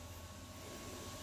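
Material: Nothing is struck.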